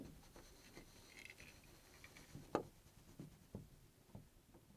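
A bare hand grips a chrome metal door knob on a wooden door and turns it back and forth, making the knob and latch mechanism click and rattle. Quiet scraping and rattling build to one sharp, louder click midway, followed by several softer, short clicks.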